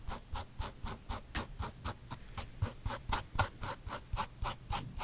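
Fingertips and nails scratch and rub the side of a hollow, empty white low-top leather sneaker with a smooth leather-like upper, tan gum rubber sole and white laces, held up in one hand. About seventeen quick, rasping strokes come in a steady rhythm, each with a soft low thump under a bright scratchy hiss that dies away almost at once.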